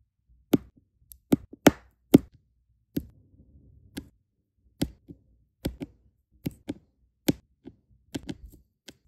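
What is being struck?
Resin diamond painting drills on adhesive canvas.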